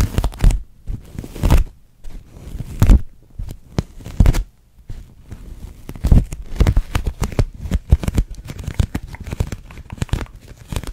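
Long nails tap and scratch a large, hollow, clear pink thin plastic dome held in front of the face. The result is a dense run of crinkly, crackling plastic taps and scrapes with a heavy low thump. Short bursts come in uneven clusters.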